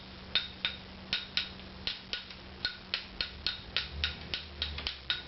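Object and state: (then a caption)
Ebony violin tailpiece with an even tap tone. An ebony violin tailpiece is tapped along its length in a steady series of short, bright taps, each with a brief high ring, to check whether its tone is consistent. The tapping sounds pretty even, ahead of raising the tailpiece's frequency to 198.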